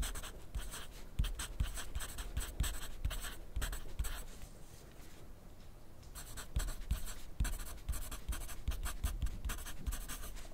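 A wooden graphite pencil is drawn across a thin grid paper sheet clipped to a flat clipboard on a desk, making dry scratching strokes with bright hiss and soft low taps. The writing pauses briefly in the middle, leaving only quiet background, then resumes with quick repeated strokes.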